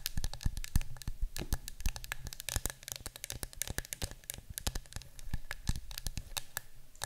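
Long nails rapidly tap and scratch the side of a yellow cylindrical cardboard citronella canister standing on a table. Quick, dry, sharp clicks mix with papery scratching and rustling over a steady low hum.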